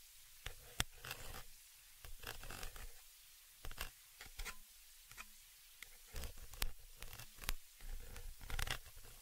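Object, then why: Metal mesh microphone grille. A dark pointed object scratches and taps across the cylindrical metal mesh grille of a stereo microphone, right against the microphone doing the recording. Irregular bursts of dry, raspy scratching alternate with sharp, bright taps over a heavy low thump. The close contact gives the scrapes a zipper-like texture with brief quiet gaps between them.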